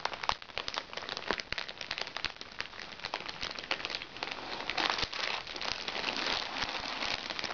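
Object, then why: Small plastic makeup bag. A small, crinkly recycled plastic makeup bag is scratched with nails and squeezed and crumpled in both hands. It makes dense, bright crinkling and crackling with many quick snaps and almost no low end. The crinkling runs nonstop for the whole clip and grows thicker and louder in the second half.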